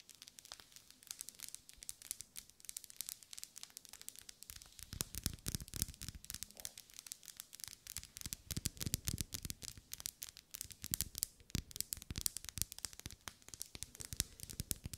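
Long pale almond-shaped nails scratch and tap along the vertical ribs of a lit, solid pink wax pillar candle held centered in both hands. Dense, crisp, bright crackling scratches and clicks sound throughout, and from about five seconds in, fuller, deeper taps with a low thump join them. The sound stays quiet and close, with each tap stopping short with no ring.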